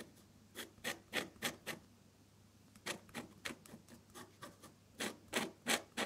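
A metal dip pen nib scratches thin purple stems and buds onto a sheet of flat off-white drawing paper in short strokes. About 14 quick, bright, scratchy rasps come in two loose clusters separated by brief pauses, each stroke ending almost immediately.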